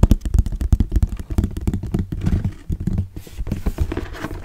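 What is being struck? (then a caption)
Cardboard box. Fingernails tap and scratch the faces and edges of a hollow orange Kodak cardboard box held in the hands and turned. Dense, dull, low thumps with very short decay come in rapid irregular clusters, mixed with softer scratchy rubbing between the taps.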